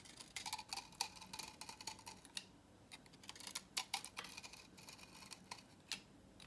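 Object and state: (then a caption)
Dry soap bar, crisp when cut. A utility knife blade cuts repeated grooves along the edge of a dry, solid salmon-orange vintage soap bar held in hand, sending crisp flakes falling. The cuts make quiet, rapid, dry clicks and scrapes that are mostly bright, with a faint tone near 900 Hz. Each one stops almost at once, with very little low end beneath them.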